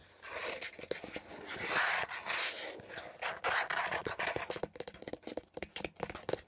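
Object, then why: Hollow plastic air freshener dispenser housing. Long nails quickly tap and scratch a beige, hollow plastic air freshener dispenser housing with leaf cutouts, first tilted and then laid on its side. The first half is a bright, hissy scraping rustle. It then turns into rapid, dry, clicky taps with almost no ring and very little low end.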